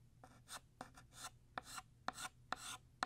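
A blue chalk stick held in the fingers scrapes across a flat black chalkboard, drawing a long horizontal line. Short, bright rasping strokes repeat at an uneven pace, several opening with a sharp tap of chalk meeting the board, over a faint low hum.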